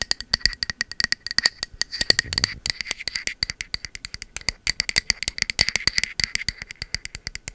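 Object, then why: Ceramic candle jar with wooden lid. A filled pink matte ceramic candle jar with a bamboo wood lid is tapped and scratched on its body and lid with long metal nail caps. Rapid, crisp clicking taps with a bright, glassy high-pitched tone die away almost instantly, and a brief scratching passage comes about two seconds in.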